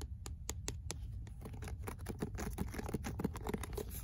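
Fingernails scratch the spine, the paper cover and the deckled page edges of a paperback book. A quick series of short, dry scratchy ticks and taps is heard, with a soft low body and faint bright edges. The strokes come close together and fade almost instantly.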